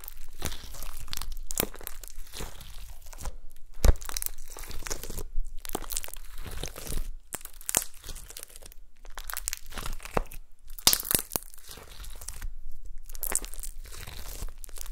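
A rolled log of gold glitter slime on a table is pressed and poked with long nails and fingertips. The clip is a steady run of soft, crunchy, crinkling squishes and sticky pops, broken by short quiet pauses and a few sharper bright clicks. The sound stays close and low-weighted with quick, dry decays.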